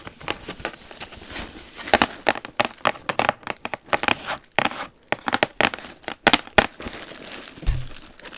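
A large beige Jimmy Choo shoe box, hollow and closed, with a suede-like textured cardboard lid and gold lettering, is held up and scratched and tapped with long acrylic nails. Dry scratching and crinkly rustling mix with quick, sharp taps that die away at once, mostly in the mid and high range with little low end.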